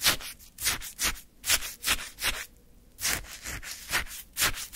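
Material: Ice.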